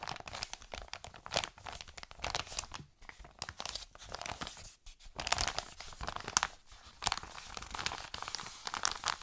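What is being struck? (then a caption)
Kraft-paper padded mailer. An empty, flat Amazon kraft-paper padded mailer is crinkled by hand, then scratched with fingertips and short nails across its printed surface. It gives a quiet, dense run of bright, dry crinkles and scratchy crackles in short irregular bursts, with almost no low end and no ring after each sound.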